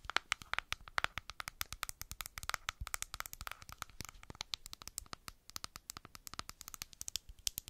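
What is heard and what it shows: Long black acrylic nails rapidly tap and scratch the screw lid and sides of a medium white plastic clay mask jar, labeled and apparently full. The result is a dense run of sharp, dry, bright clicks with a faint hollow plastic tone near 1.4 kHz. There is almost no low end, and each tick stops instantly with no ring.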